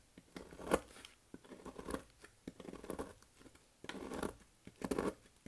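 A bare hand squeezes and crushes a pile of loose, brittle, dry green and white soap shavings with its fingertips on a white surface. Irregular bursts of dry crunching and crumbling crackle through the midrange, with the loudest crunches near the start and the end. Each burst ends abruptly with no ring.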